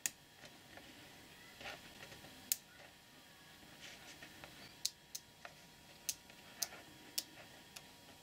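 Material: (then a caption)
Metal. Fingertips press and snap small solid plated neodymium magnetic balls together while assembling them into a hand-sized sphere. Nine sharp, bright metallic clicks stand out, each dying away almost instantly, over a quiet, faint hiss with softer rustling contacts in between.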